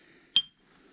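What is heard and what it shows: A boulder in the Ringing Rocks boulder field near Pipestone, Montana, is struck once with the provided hammer, giving a single sharp, high clink with a brief tone around 3.2 kHz that dies away almost immediately. This rock is a dull one that barely rings, unlike the next rock.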